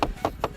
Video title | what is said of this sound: Kelebihan dan Kekurangan Honda Vario 160! - Worth It Gak Sih? | plastik tipis banget ini kalau diketok bener-bener suaranya nyaring banget